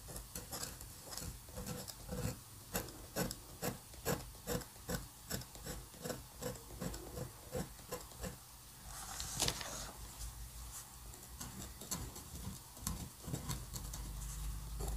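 A metal dip pen nib, held between the fingers, scratches looping strokes across a flat sheet of white paper on a table. About 29 short, bright scratches come in an uneven rhythm of roughly two per second, with a low steady hum underneath. Near the middle comes a longer, brighter rasp before the quick strokes resume.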